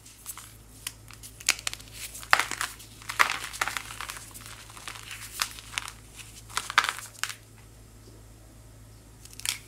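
A small, solid white chalk-like powder block is squeezed and crumbled between powder-coated fingers with long white nails, and powder trickles down. Dry, bright crunches and crackles come in irregular short bursts over a faint steady low hum, with quieter gritty trickling between the louder breaks.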